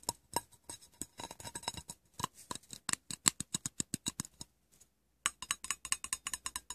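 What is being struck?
Aluminium tin lid.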